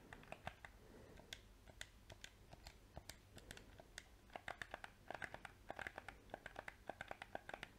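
A small, hollow black PS4 plastic controller has its buttons clicked and its shell tapped with painted fingernails. About forty sharp, dry clicks and taps come through, sparse at first, then quicker and denser toward the end, with short bright snaps over a low steady hum.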